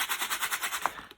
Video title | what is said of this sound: Phox water filter unboxing and review | if you shake it you can hear that there's definitely some sort of stuff in there